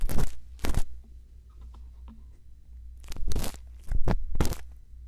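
A thin bamboo earpick scratches the rim and the inside of the canal of a silicone ear on a binaural microphone. Close, crunchy scraping bursts come in two clusters, separated by a quieter stretch with faint light rubs. A steady low hum runs underneath throughout.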